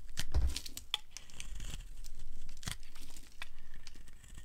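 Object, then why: Bar of soap scraped by a metal blade. A solid, dry, pale yellow rectangular soap bar held in the hand is shaved by a metal blade, and flakes fall away as it is carved. Short, crisp scraping and crinkling strokes repeat throughout with a brief bright edge, over a low, soft rumble.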